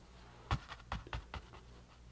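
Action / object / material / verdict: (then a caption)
tap / canvas board dabbed with a paintbrush / canvas / none. A paintbrush dabs and brushes paint across a small, thin, solid rectangular canvas board painted green and resting on a table. The bristles make five soft, quick strokes that are each a short low thud with a faint scratchy brush texture above it. The strokes fade almost instantly against a quiet background.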